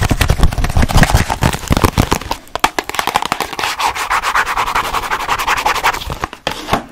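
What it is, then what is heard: Cardboard box. Long nails quickly rub, scratch and tap a small rectangular cardboard box printed with ladybirds. The first half is a dense run of fast, low, hollow taps, which give way to a steadier dry scratching and rubbing with a papery mid-range rasp. A few short taps break through near the end.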